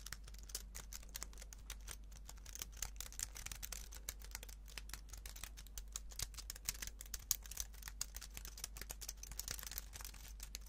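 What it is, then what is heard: Plastic computer keyboard typing. A slim white plastic computer keyboard is held up in both hands while fingertips rapidly press and tap its keys. A quick, continuous stream of short, dry, bright clicks sits over a steady low hum, each click dying away almost instantly.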